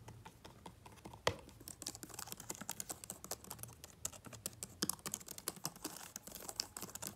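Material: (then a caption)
Plastic. Fast, bare fingertips of one hand rapidly tap and type on the black plastic keys of an open, powered-on aluminum MacBook Pro laptop's keyboard deck. The result is a quick, steady stream of short, bright clicks, with one sharper, louder tap near the start.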